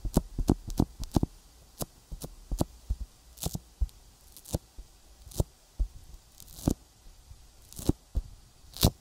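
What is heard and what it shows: An index fingertip taps and rubs a sticky silicone binaural microphone ear coated with petroleum jelly. About twenty short, close-up taps land at an irregular pace, each a dull low thump with a bright, crackly, tacky edge. Between taps there are faint rubbing sounds over a quiet low hum.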